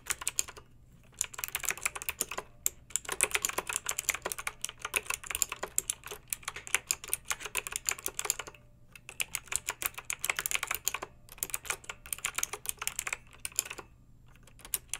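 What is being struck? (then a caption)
Plastic mechanical keyboard with metal-rimmed keycaps. Long nails and fingertips type on a backlit plastic mechanical keyboard with round metal-rimmed keycaps. Bright, rapid clicky keystrokes come in bursts, separated by brief pauses and ending in scattered taps.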